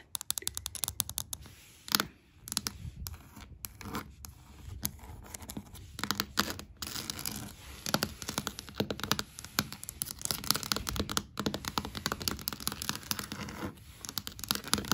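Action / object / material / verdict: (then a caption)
scrape / wooden floorboards / wood / none. Long black acrylic nails scratch and tap on solid grained wooden floorboards. Rapid, dry, bright scratching mixes with short, sharp taps that die away almost instantly, with brief pauses between bursts.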